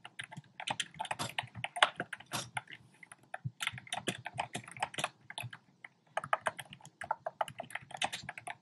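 Fingertips type quickly on a compact black plastic typewriter-style keyboard with round plastic keycaps, making a rapid run of short, dry clicking key taps. The taps are bright with almost no low end, and each dies away almost instantly. Brief pauses fall around the 3.5-second and 6-second marks.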